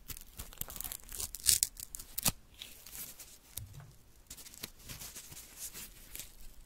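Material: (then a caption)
Paper. Small torn pieces of thin white paper are pinched between fingertips with long nails and torn into smaller bits. Bright, crisp tearing and crinkling sounds come in an irregular stream, with two sharper, louder rips near the start before the sound settles into softer rustling.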